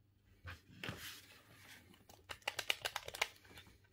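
A silver, hollow plastic Nintendo GameCube controller is held in both hands over a cutting mat while the thumbs repeatedly press and click its buttons and joystick. Soft plastic rustles and scattered taps are followed by a quick, irregular run of sharp, bright clicks that stop dead with no ring.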